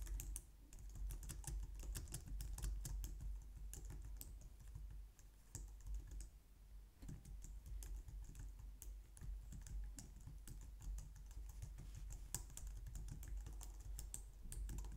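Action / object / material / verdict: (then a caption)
tap / plastic computer keyboard / plastic / none. Long painted nails and fingertips type on a low-profile white/light-grey plastic wireless keyboard resting on a glitter mat on a wooden desk. A steady stream of soft, bright, short key taps and clicks dies away almost instantly over a low hum, with a brief quieter lull near the middle.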